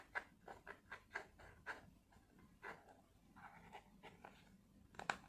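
A small flat blister pack of white tablets, with clear plastic bubbles and a foil backing, is held in both hands and scratched and tapped with long fingernails. A quiet series of short, dry, crinkly plastic clicks and scrapes is heard, sharp and brittle with a bright edge and almost no ring. The taps come in uneven bursts and end with a slightly louder cluster.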